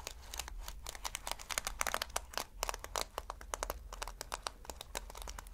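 Fingertips scratch across reversible flip-sequin fabric, flipping the plastic sequins in a rapid run of crisp, bright clicks and crinkling rustles. A steady low hum sits underneath the sharp, dry ticks.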